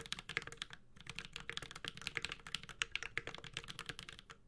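A Space65 Cybervoyager 65% mechanical keyboard, with a white-gold aluminum case, plastic keycaps, a carbon fiber plate and tactile Holy Panda switches, is typed on steadily with the fingertips of both hands. The result is a quick, even stream of short, bright, clacky key taps with little low end and no ring after each press.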